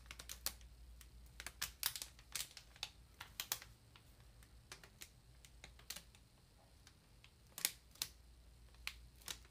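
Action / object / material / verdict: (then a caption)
tap / ream of paper in plastic wrap / plastic, paper / none. Long nail tips tap on the plastic-wrapped top of a large, solid paper ream. An uneven series of sharp, bright, very short ticks and crinkly clicks sits over a faint, steady low hum, each tap dying away almost instantly.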